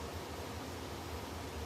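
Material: Nothing is struck.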